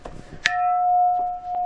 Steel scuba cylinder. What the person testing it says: it still rings out but once again if it was muffled if it just kind of went dunk then I would know that the Metal's bad